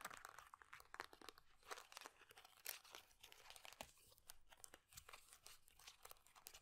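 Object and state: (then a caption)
Plastic moisturiser tube with metal cap. Long dark-painted nails rapidly tap and scratch along a small hollow plastic squeeze tube of moisturiser and its silver and black screw cap, held in both hands. The result is a dense stream of dry, crisp clicks and scratchy crinkling, bright with little low end and no ring.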